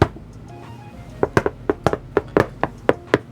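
A metal Silverstone PC case side panel lined with dense asphalt sound-dampening material is knocked in a quick series of sharp, dull raps. Each knock is a short, dead midrange thud with almost no ring, so the metal panel sounds almost like wood.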